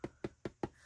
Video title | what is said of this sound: #PaperStashSmash One Page Wonder Easy Album | I can knock on this. This is not going anywhere. Look, there's no wavering here. It's not bending at all. It is just absolutely solid.